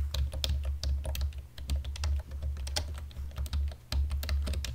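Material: Plastic.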